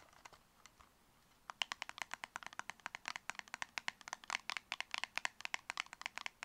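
Long red fingernails tap fast on a tall, narrow, hollow copper-colored cardboard cosmetic box held in both hands. A few soft, sparse taps come first, then a rapid run of about 40 crisp, bright clicks starts at around 1.5 seconds. Each click is dry and stops at once, with no ring and no low end.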